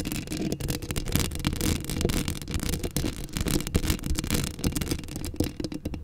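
Long acrylic nails scratch a hollow steel mesh microphone grille up close, making a dense, continuous rasping scrape. A heavy low rumble sits beneath rapid, uneven bursts of bright crackle that keep rising and falling throughout.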